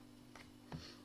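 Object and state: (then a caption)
Plastic weaving tool. An acrylic plastic cord-weaving tool, sold as an acrylic knitting and wicker tool, is tapped twice. Two light, hollow plastic ticks sound, the second louder with a short ring. The sound confirms the tool is plastic.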